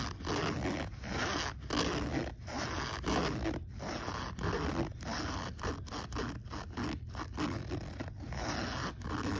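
Fingertips pull the metal zipper slider on the front pocket of a black polyester fabric backpack open and closed again and again. Each stroke gives a coarse zipper-teeth rasp. The strokes run nearly back to back with short, uneven pauses at a fairly steady level.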